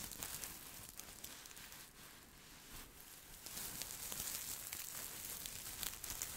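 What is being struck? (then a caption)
Cloth sachet filled with soft stuffing. Fingertips and nails scratch and squeeze a small, soft, filled green patterned cloth scent pillow held in both hands close to the mic. The result is a dense, bright, crackly rustling with quick scratchy bursts, softening briefly in the middle before growing louder and busier again.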